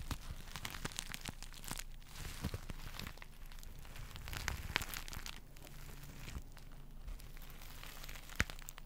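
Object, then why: Sequin-covered fabric pillow. Fingertips and nails brush and scratch across a soft pillow covered in pink and silver reversible sequins, sometimes right over the mic. The result is a continuous crinkly, scratchy rustle with sharp bright clicks and ticks scattered throughout, over a steady low rumble.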